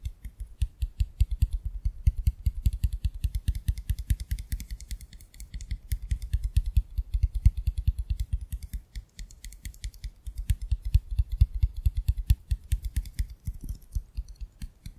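Fingertips and short nails rapidly tap and scratch the sides of a small conical glass bottle with a metal screw cap, full of pink water beads. The dense stream of soft, dull taps is dominated by low thuds, with short bright clicks and scratches on top that die away almost instantly.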